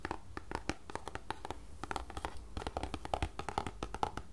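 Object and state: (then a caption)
Cardboard tea box. Long nails tap and scratch across the flat surfaces of a small, closed green paperboard tea box that is hollow with tea bags inside. A quick, uneven run of short, dry clicks mixes with soft scratching, giving a close, papery, mid-pitched tapping with a low hollow undertone.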